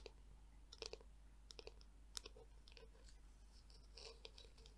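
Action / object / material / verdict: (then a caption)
tap / hollow plastic hairbrush / plastic / none. Long nails tap and click on the smooth back and edge of a black, hollow, palm-sized plastic Tangle Teezer detangler brush. The sound is quiet, dry and short, with bright clicks over a soft low hum. Distinct clusters of sharp clicks are separated by lighter scratchy tapping.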